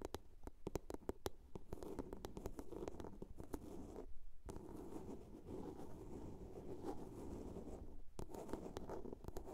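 Long nails tap and scratch the top and sides of a small hollow blue plastic box. Quick, sharp clicking taps ring off almost instantly over a steady hollow scratching with a low-mid tone. Two brief pauses fall near the 4- and 8-second marks.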